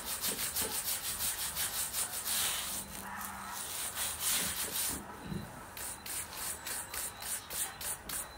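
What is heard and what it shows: A small wooden-handled bristle brush scrubs the lower side of the upper near the sole of a black suede Nike high-top boot with a glossy patent toe, worn on a foot, during a deep cleaning. Quick, rhythmic back-and-forth strokes make a bright, hissing scratch at about three strokes per second, with a steadier, smoother rubbing passage in the middle.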